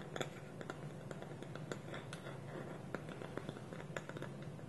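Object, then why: Small polished wooden bowl with wooden lid. Fingernails tap and scratch on a small, hollow, polished wooden bowl whose wooden lid is held against it with both hands on a table. Quiet, dry clicks ring out irregularly over a soft, steady scratching bed with a low hollow hum. The taps are short and bright, and each fades quickly.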